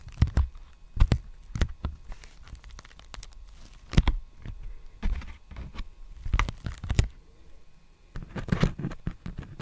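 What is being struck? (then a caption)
Plastic bubble mailer envelope. Fingertips tap and scratch the surface of a large, empty black poly bubble mailer envelope held upright. Dry, muffled taps with a soft low thump come in irregular bursts, mixed with crinkly scratching and rustling between them. A denser flurry of scratching builds near the end.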